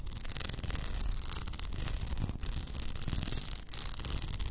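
Long nails scratch steadily over a hollow, upright cylindrical tumbler covered in blue plastic rhinestones and topped with a frosted plastic lid. The result is a continuous, dense rasping and clicking texture with a bright hiss over a heavy low rumble, dipping only briefly between strokes.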